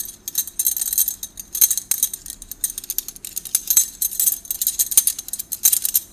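A bundle of hollow gold metal drinking straws is held in both hands while the fingers shuffle and rub them against each other. This makes a steady stream of light, bright clinks and jingly rattles with very short ring and almost no low end.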